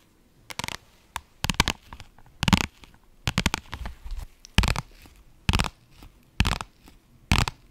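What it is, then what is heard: Vinyl pouch scratched and tapped. A soft-sided pink holographic, iridescent faux-leather zippered pouch is held in the hands and scratched and tapped with long nails. Short, crinkly bursts of scratching and tapping come in uneven clusters, each dying away almost at once, with a muffled low thud underneath and a bright rustling edge.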